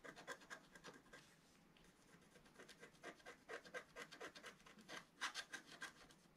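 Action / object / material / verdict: scrape / wax-coated scratch art paper scraped with a wooden stylus / coated paper / none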